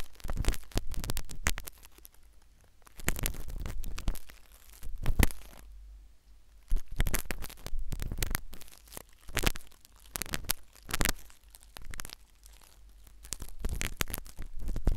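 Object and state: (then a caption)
Silicone ear microphone scraped with a needle. A metal syringe needle scratches and scrapes inside the ear canal of a solid, white, soft silicone ear replica on a binaural microphone. Bursts of close, crackling scrapes and crinkly rubs come in clusters with short quieter gaps between them. The sound is mostly a deep, muffled rumble with a few sharp, bright ticks.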